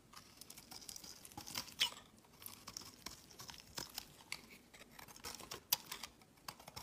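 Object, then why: Bar of soap. A utility knife blade shaves a solid, translucent, olive green rectangular soap bar into crumbly curls. It makes a steady run of soft, bright, crisp scraping and crackling, like fine crumbling. A few sharper snaps stand out near 1.8 and 5.7 seconds over the quiet, high, papery texture.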